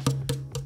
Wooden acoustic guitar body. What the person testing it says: this one doesn't have a loose brace so you're not hearing the rattle sound